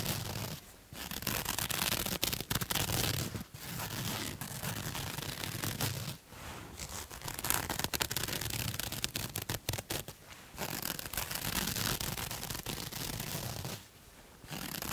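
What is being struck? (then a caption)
Ribbed cotton knit fabric. A pink striped ribbed cotton knit fabric is bunched in one hand while long nails scratch along its ribs. The result is a steady, bright, dry scratching texture with quick raspy strokes, broken by a few brief pauses.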